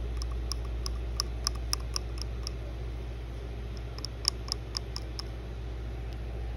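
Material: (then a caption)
Plastic. Long blue nails tap and click on the casing of a small white plastic phone wall charger with metal prongs, held in the hand over pink fabric. Quick, dry, bright clicks come in two loose clusters, with a short pause between them, over a steady low hum.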